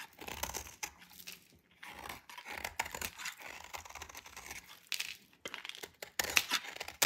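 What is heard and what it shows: A hand-held dry white soap bar with pink specks is scraped and cut with a metal utility knife blade. The result is a run of dry, crisp scraping and crunching strokes with a bright, tearing texture, almost no low end, and short bursts that stop quickly.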